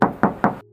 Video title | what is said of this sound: SPILL SIENTA TIPE TERTINGGI Q MATIC 2017! TANGAN PERTAMA & TERAWAT HARGA MURAH! MOBIL BEKAS SEMARANG | Tuh masih kedengeran banget nyaringnya.